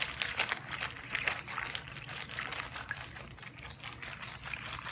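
A small clear plastic zip-lock bag with a green seal, partly filled with water, is held in both hands while fingertips squeeze and crinkle it. Bright, crackly plastic crinkles mix with soft wet sloshing and gurgling of the water inside. The sound flows in a steady stream of quick, close textures.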